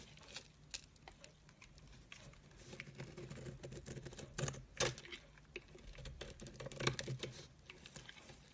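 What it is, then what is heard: Soap bar scraped. A solid cream soap bar is scraped with a metal blade, shaving off thin curls. Soft, dry patter and crisp scratching ticks repeat unevenly, with a few louder bright scrapes near the middle and end over a low hum.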